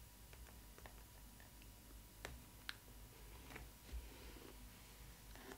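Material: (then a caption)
Cardboard. Long red nails tap and scratch the printed front of a cardboard doll box with a Stitch cutout. Sharp, quiet clicks with very short decay stand out over a soft, low-heavy hum, with faint scratching in between.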